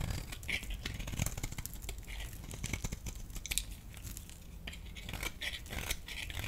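A blade scrapes shavings off the surface of a solid yellow bar of soap, giving a steady run of quick, dry, crackling scrapes with bright crisp edges over a low rumble. The scraping stays soft and continuous for the whole clip.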